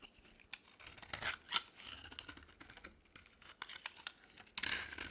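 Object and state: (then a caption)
Dry soap bar being shaved. A utility knife blade scrapes across a solid oval bar of dry green soap held in the palm, shaving off thin curls. Quiet, bright scratchy rasps and crisp flicks come in uneven bursts with no ring, and the louder strokes fall around the middle and end of the clip.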